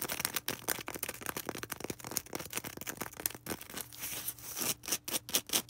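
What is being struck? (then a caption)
Polystyrene foam ball. Long red acrylic nails scratch quickly over a small, solid white polystyrene foam ball held in close-up. The result is a dense run of short, bright, crackling scrapes with squeaky rubbing and little ring, over a faint low hum, growing sharper and more spaced toward the end.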